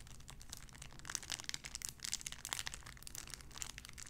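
A clear cellophane wrapper around a small sun-shaped figure is crinkled and scratched with fingernails. Quiet, bright, dense crackling and sharp little snaps come in uneven bursts over a faint low hum. The plastic gives a continuous crisp rustle throughout.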